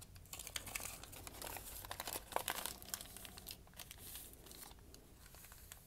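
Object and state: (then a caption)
Crumpled notebook paper. A folded, crumpled sheet of white lined notebook paper, held in one hand with dark painted nails, is crinkled between the fingers. It makes a soft, steady stream of dry, bright crackles with sharper snaps scattered throughout, all at a low overall level.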